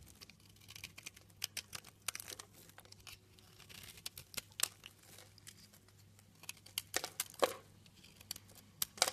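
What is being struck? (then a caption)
Bar of soap cut with a utility knife. A utility knife cuts shavings off a light green soap bar. The result is a quiet, irregular series of crisp, bright scraping and crackling strokes, each one dry and short with almost no ring, and a few sharper strokes stand out near the end.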